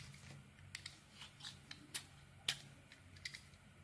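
A metal blade shaves thin slices from a solid oval soap bar with a red coating and a white core, held in the hand. About ten quiet, bright, crisp scraping ticks come at an irregular pace, each dying away almost at once. A faint low hum sits steadily underneath.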